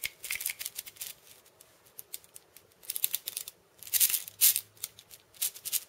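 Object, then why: Cabasa with steel bead chains. Fingers and nails scratch and tap the steel ball chains of a steel bead cabasa, a hollow wooden cylinder. The result is a quiet, irregular run of short, bright, dry rattling ticks and scrapes with almost no low end. A few louder, fuller rattling bursts come around the four-second mark before the taps thin out again.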